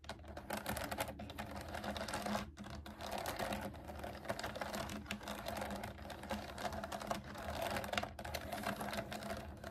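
Long nails tap and type on a pastel plastic mechanical keyboard with round keycaps resting on a table. A dense, steady stream of quick, crisp clicks with a midrange ring continues throughout, broken by brief pauses near 2.5 and 8 seconds.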